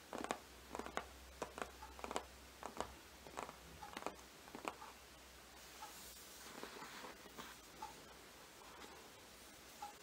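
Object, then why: Hardcover book with glossy printed cover. Long green-painted nails of both hands tap and scratch the front cover of a large, closed hardcover Harry Potter book lying flat on a rug, its solid board covered in glossy printed paper. Crisp, quick taps with short decay come first, then a softer stretch of papery scratching broken by occasional light taps.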